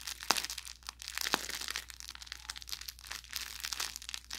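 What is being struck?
Fabric plush toy with crinkle filling.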